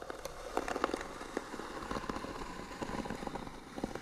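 Long nails scratch back and forth across the lid of a small, hollow, white painted wooden box. The result is a steady, dry rasping with scattered short, sharp ticks, centred in the mid range with little low end.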